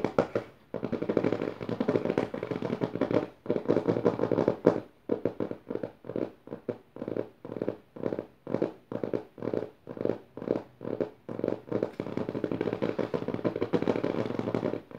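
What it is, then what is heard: Paper notebook pages tapped and scratched. Both hands with long nails tap and scratch the dotted paper page of an open notebook. Dense, continuous papery scratching at the start and end frames a middle stretch of quick, separate rhythmic strokes, each a short crisp rasp. The sound is mostly mid-range with little low end.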